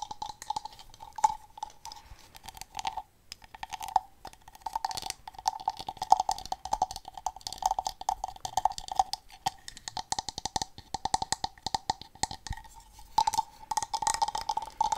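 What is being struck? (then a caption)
Carved wooden fish figure. A solid, hand-sized carved wooden fish with ridged scale texture is held in the hands and tapped and scratched with long dark-painted fingernails. Quick, dry clicks and scratchy rasps come in dense, irregular bursts, with a woody tone around 770 Hz and almost no ring after each tap.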